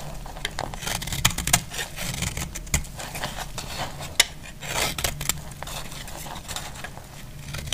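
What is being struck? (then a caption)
Soap bar cut with a metal blade. A solid, dry white soap bar is held in the hand and cut into flakes with a segmented metal utility blade. Repeated dry scraping and shaving strokes give a bright, crackly rasp with sharp clicks as flakes break off, over a steady low rumble.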